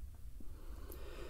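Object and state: Nothing is struck.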